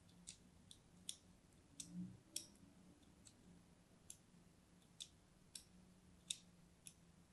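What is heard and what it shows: A thin metal blade is drawn across the surface of a purple-and-white striped solid bar of soap held in the hand, scoring and scratching it. The result is eleven short, dry, high-pitched clicks and scrapes with almost no ring, spread across the clip over a faint low hum.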